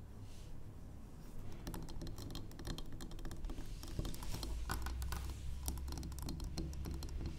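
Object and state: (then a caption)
Wax pillar candle. A large, solid, square, cream-colored wax pillar candle is held upright on a wooden table and tapped on its sides with long acrylic nails. Quick, irregular, crisp clicks patter over a steady low hum, growing denser and a little louder after the first second.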